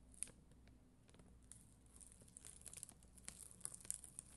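A black mascara spoolie, held by long green nails, scratches across a flat, solid sheet of red and clear acrylic gem stickers on a white backing. It makes a quiet, bristly scratching with bright, crisp ticks and crackles that grow busier and sharper in the second half over a low steady hum.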